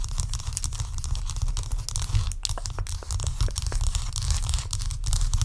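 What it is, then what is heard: Block of ice. A large solid block of ice resting on a towel is scratched and tapped with long acrylic nails. Dense, continuous scraping and crackling clicks run throughout over a heavy low rumble, with sharp bright taps breaking through.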